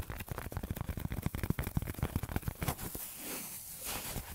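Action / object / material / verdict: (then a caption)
scrape / thin white foam sheet / foam / none. A thin, flexible, solid white foam sheet of polyethylene or styrofoam type is bent in the hands and scratched and rubbed with fingertips and nails. For about three seconds it gives a dense run of rapid, dry, low-heavy crackling scratches, then eases into a softer, steady rubbing hiss until the end.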